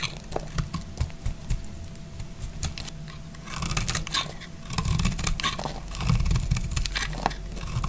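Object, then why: Bar of soap shaved with a blade. A solid green dry bar of soap, held in the hand, is shaved with a utility knife blade in a series of scraping cuts. Short, dry, crisp scrapes and ticks with bright edges sit over a low rumble, with a faint steady tone underneath. The cuts grow denser and louder in bursts toward the middle and end.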